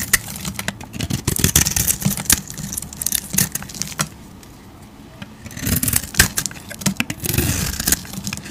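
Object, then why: Bar of soap scraped with a metal blade. A hand-sized, solid pink bar of soap with a printed rose design is held in the hand and scraped and carved with a metal razor blade, shedding fluffy pink shavings. Dense, crisp scraping and crackling strokes fill the clip with bright, hissy texture and a low rumble beneath. The strokes pause briefly around the middle before resuming.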